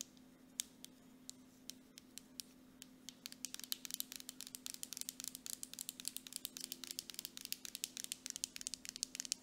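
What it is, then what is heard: Plastic cosmetic jar. Long nails tap quickly on the labeled side of a medium grey plastic Dead Sea mud mask jar with a metallic lid, held upright. Some fifty sharp, bright clicks start sparse and grow into a dense, rapid patter. A faint steady hum sits underneath.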